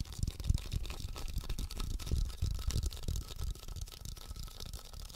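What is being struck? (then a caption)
Hand-sized plastic Magic 8 Ball with liquid-filled inside. A hand-sized black plastic Magic 8 Ball with a white 8 label, a hollow shell holding a liquid-filled answer chamber, is held in both hands while fingertips and nails tap and scratch its surface. Quick, irregular, muffled low thumps blend with a faint, bright scratching hiss. The sound stays soft and continuous throughout.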